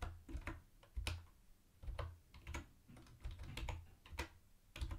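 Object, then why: Plastic keyboard with round plastic keycaps. Fingertips type on a mint-green plastic typewriter-style keyboard with round white plastic keycaps and a hollow body. Each keystroke gives a quick bright clack over a deep, hollow thump. The presses come in uneven bursts, and each one dies away almost at once.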